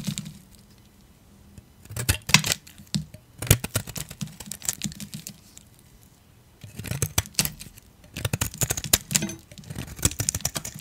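A metal utility blade shaves brittle curls off a solid dark grey dry soap bar held in the hand. Dense, bright crackling scrapes come in bursts separated by brief quiet pauses, with a dull low body under each stroke. The soap crunches and flakes away sharply with no ring.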